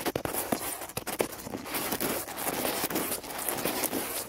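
Two dark stiff-bristled brushes, one in each hand, scrub fast over a large, dry, cracked, weathered wooden log that lies solid on the grass outdoors. The result is a steady, bright, scratchy hiss broken by quick, sharp brush strokes that stop dead with no ring.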